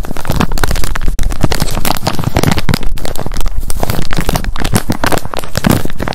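A soft wet wipes pack with a hard plastic flip lid printed with Sanrio characters is held in both hands while long acrylic nails tap fast on the lid. The result is a dense, continuous stream of quick, dry clicks with a heavy low-end thump and little high brightness, with a brief drop just after the first second.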